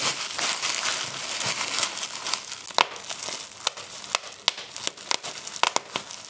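Clear plastic bubble wrap is pinched between both thumbs and forefingers, and the bubbles are popped one after another. A steady, bright crinkling of plastic fills the first half; sharp, dry snapping pops then stand out above it, each cutting off almost instantly.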